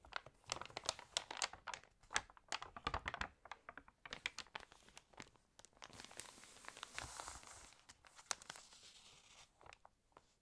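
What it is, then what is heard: Glossy paper magazine. A page of an open, water-damaged glossy paper magazine is lifted and flipped, and a palm rubs across the pages. Quick, bright crinkling crackles come in dense bursts, then shift into a steadier papery rubbing hiss that fades out with a few last crackles.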